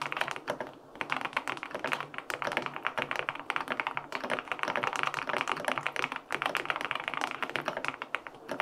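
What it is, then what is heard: Mechanical keyboard with aluminum case and plastic keycaps. A LINK65 compact mechanical keyboard with a white aluminum case, pale pink plastic keycaps and linear switches sits on a desk and is typed on with fingertips. Quick, dense key taps run continuously, giving short, clacky thocks centered in the mids with a bright edge and almost no low end. Each tap dies away almost at once.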